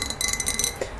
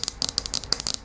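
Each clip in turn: First: glass lava lamp globe. Second: plastic lava lamp base.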